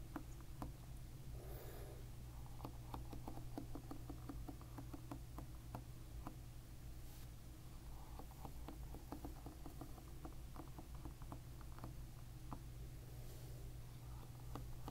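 Fingertips and short nails strum and flick the brown plastic pins on the black cushion of a paddle hairbrush lying bristles-up on a white cloth. Soft, quick clicks and light patters sound over a steady low hum throughout.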